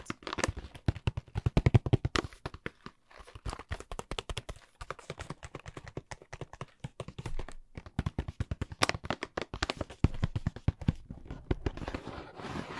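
A hollow, blue printed cardboard product box, held in one hand, is tapped and scratched with the fingernails. Quick bursts of dry, dull taps with a low, hollow thud die away instantly, broken by brief pauses. Softer scratching rasps fill the last seconds.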